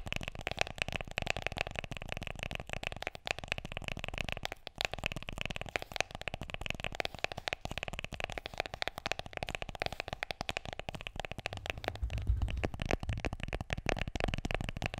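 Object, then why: Smartphone in a plastic case. Long nails tap rapidly on the back and edges of an iPhone in a black plastic case held landscape, producing a steady stream of short, dry clicks. Each tap dies almost instantly, with a hollow tone around 700 Hz and a bright edge. The tapping grows slightly louder and fuller toward the end.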